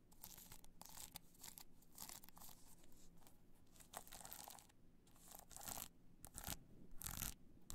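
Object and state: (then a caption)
Rhinestone-covered hard-shell clutch. Long nails scratch the face of a hollow black hard-shell clutch covered in multicolor rhinestones, held upright in the hand. The result is a run of bright, crinkly scratching bursts over a steady low hum, with a few louder, sharper rasps near the end.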